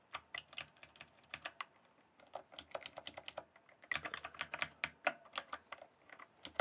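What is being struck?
Plastic mechanical keyboard keys.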